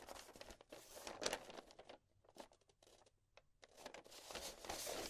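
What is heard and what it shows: A single folded sheet of thin pink writing paper with handwriting, now flat and unfolded, is held in both hands with long painted nails and shaken, flexed and rubbed over a marble table. It gives dense, bright crinkling and crackling that thins to sparse, quiet crackles in the middle, then swells back to steady crinkling at the end.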